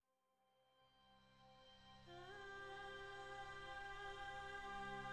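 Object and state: Nothing is struck.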